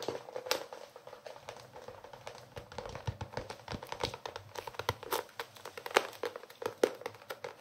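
A blue hardcover notebook with red-pink edges is held in both hands while fingernails tap and scratch its cover. The result is a dense stream of quick, dry clicks and scratchy rustles with a few sharper taps standing out, each dying away almost instantly.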